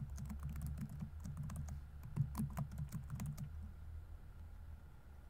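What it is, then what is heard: Plastic laptop keyboard being typed on. Fingertips rapidly tap the plastic keys of a laptop keyboard on a grey laptop body while typing. A quick run of soft, dull, low-pitched key thuds, each with a faint bright tick, stops about two-thirds of the way through. A steady low hum remains after the typing ends.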